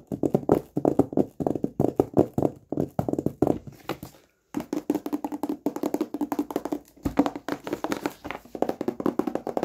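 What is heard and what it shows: A hollow, flat rectangular cardboard gift box, covered in black textured paper with a silver logo, is held in both hands and tapped rapidly with the fingertips and short nails on its lid and edge. The result is fast bursts of dry, hollow, mid-pitched taps that die away almost at once, with a brief silent pause partway through.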